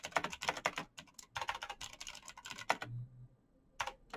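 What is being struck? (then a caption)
Plastic mechanical keyboard. Fingertips in fingerless knit gloves type fast on a black plastic mechanical gaming keyboard with clicky green switches, backlit keys and a hollow case. About two dozen sharp, bright clicks come in quick bursts. A brief pause with a faint low hum follows, then a few last taps.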